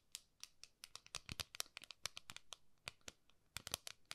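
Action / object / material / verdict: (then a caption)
tap / round metal tin lid / metal / none. Long nails scratch and tap the lid top of a flat, round gold metal tin held horizontally. A quiet, rapid run of crisp, bright clicks and scratchy rasps comes through, with hardly any low end. Each tap dies away almost instantly with no lingering ring.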